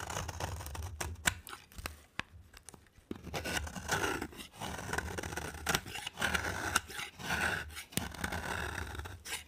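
A solid white and green rectangular bar of dry soap, held in a hand with long dark nails, is scraped and carved with a utility knife blade as shavings pile up. Dry, crisp scraping and cutting strokes come in quick, uneven bursts with a brittle rasp around 1.5 kHz, each dying away almost instantly.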